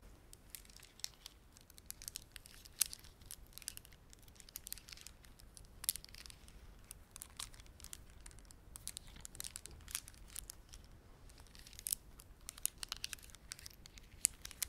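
Fingertips squeeze and rub a hand-sized woven plastic beaded ornament held in both hands, made of red spiky plastic beads, large dark blue round beads and small white pearl beads. The result is a quiet, steady stream of bright, dry clicks and crinkling with sharp, very short ticks scattered throughout.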